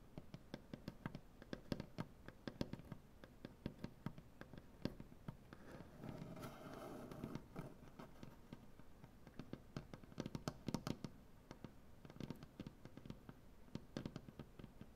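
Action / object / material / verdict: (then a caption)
tap / wooden butcher block tabletop / wood / none. Long dark-painted nails tap rapidly on a solid light wood butcher block tabletop, making quiet, dry, clicky taps with a low, woody body. A brief stretch of softer, smeared rubbing sound sits in the middle before the quick tapping resumes.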